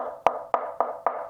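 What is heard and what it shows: Four knocks on the cabinet of a KEF Q Concerto Meta bookshelf speaker, made of roughly 5/8 inch thick MDF with less bracing. Each knock gives a short, hollow, woody tap pitched around 700 Hz that dies away quickly. The cabinet sounds less dense and thinner-walled than the R3 Meta's.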